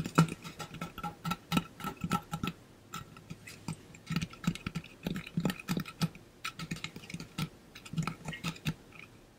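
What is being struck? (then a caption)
Painted metal water bottle. Fingernails tap rapidly on the painted body of a hollow, pink-blue ombre metal water bottle held upright in front of the body. The result is a dense, uneven run of quick, light clicks, each with a brief hollow, low tone around 164 Hz and very little ring.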